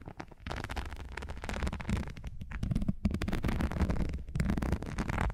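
Long nails scratch and tap the surface of a thin, textured non-slip rubber or silicone sheet held in front of the microphones. The result is a dense, continuous crackling rustle, heavy in low rumbly tones, with brief pauses between bursts.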